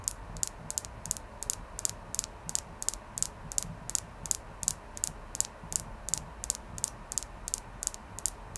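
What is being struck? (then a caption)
Clear quartz crystal. A clear quartz crystal is tapped repeatedly, producing rapid, light, bright clicks that stop almost instantly, often in quick pairs. The taps are quiet and high-pitched over a faint steady background noise throughout.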